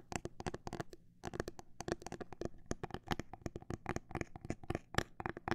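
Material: Plastic.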